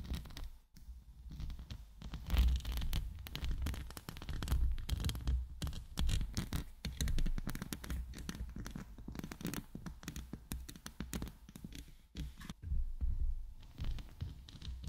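Long nails scratch and rub a hollow steel mesh microphone grille held in both hands. The result is a dense, continuous stream of rapid scratchy rasps with a heavy low-frequency rumble and brief louder swells throughout.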